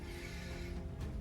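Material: Nothing is struck.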